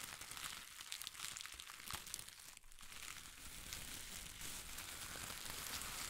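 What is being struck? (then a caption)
Thin shredded paper strips. A bunch of thin pastel shredded paper strips, clutched in one hand, is crumpled and crinkled with the fingers. The result is a quiet, continuous bright crackle with a dense rustle and no clear separate hits, easing briefly near the middle before building back up.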